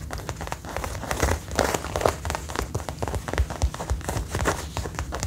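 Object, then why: Faux leather jacket. Fingertips and long nails scratch and tap the chest and shoulder panel of a worn brown faux leather jacket. A dense run of soft, quick taps and crinkly scratches mixes dull low thumps with brighter, sharp clicks, with no ring after each touch.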